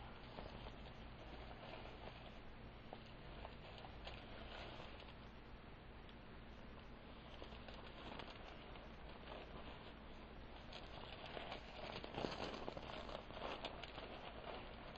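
A velvet bag filled with glass beads is handled and shaken, giving a steady, soft rain-like patter of clicking beads. The sound stays dense and fairly even across the clip, with a few slightly louder rustles near the end.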